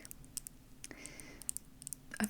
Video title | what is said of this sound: ASMR tapping on a very random assortment of objects and rambling (soft spoken) | these little clicky I think they're just like resin hair clips